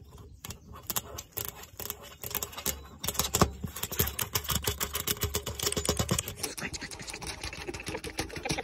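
Long acrylic nails on a gloved hand tap and scratch a thin, flat black metal fire pit lid with a ring handle and screws, set into a stone-tile patio table over a hollow space. Dense, rapid, bright clicking taps mix with scratchy rasps over a steady low rumble that drops out near the end. The taps are sharp and dry, with almost no ring.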